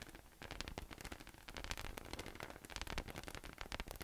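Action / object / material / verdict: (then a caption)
tap / inflatable PVC massage ball / PVC / none. A yellow, hollow, air-filled inflatable PVC massage ball with nubs, resting on a table, is tapped and patted with fingertips. The result is a quiet, fast, irregular stream of short, dull taps with a soft low thump and bright, crackly rustling.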